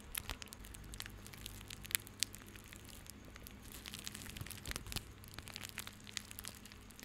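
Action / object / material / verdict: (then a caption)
scrape / coiled plastic rope bundle / plastic / none. A small coiled bundle of white plastic rope is held in both hands and squeezed and rubbed with the fingertips. It makes a quiet, continuous crinkling and crunching with many sharp, bright ticks, over a faint steady low hum.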